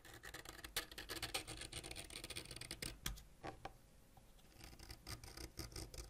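A solid purple wax crayon, held by the fingertips, is scraped with a white ceramic knife blade, leaving wax shavings around it. Rapid, bright scratching strokes run throughout, easing into a quieter stretch near the middle before picking up again.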